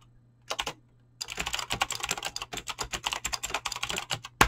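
Fingertips with short painted nails type fast on a full-size mechanical keyboard with Razer green clicky switches and pink-blue PBT plastic keycaps resting on a desk. A brief burst of keystrokes and a short pause give way to a rapid, steady run of bright, sharp clicks over a faint low hum. The run ends with one louder final click.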